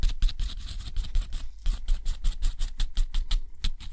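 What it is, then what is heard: Pen nib scratching on textured watercolor paper. A steel dip-pen nib draws wavy lines and small marks across a thick, rough, white textured watercolor paper sheet, scratching its surface. The result is a quick, uneven series of short, dry, bright scratching strokes with a faint low rumble underneath.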